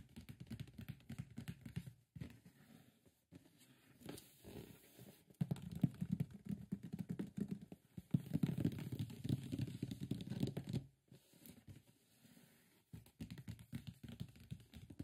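Fingertips tap and drum on the top and sides of a large, closed, hollow white printed cardboard box for a Warm Audio WA-67 microphone, its contents not visible. The result is quick, irregular bursts of soft, hollow, low thumping and pattering with brief papery scratches, separated by short pauses; it is loudest around the middle and in a busy stretch just past eight seconds.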